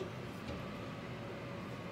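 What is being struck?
Nothing is struck.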